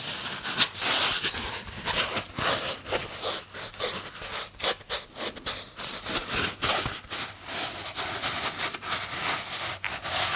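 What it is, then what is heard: Styrofoam box. A small, hand-sized white polystyrene foam box, hollow and closed, is held in one hand and rubbed and squeezed with the fingertips. It makes a steady stream of bright, dry squeaks and crackling scrapes that swell and dip in short bursts, with almost no low end.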